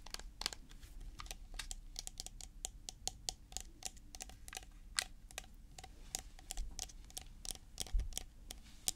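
A white plastic tub with a blue plastic lid is held and tilted in the hands while fingertips and nails tap on its body and lid. A rapid, uneven run of short, dry, bright clicks comes with no ring after each one, over a faint low rumble.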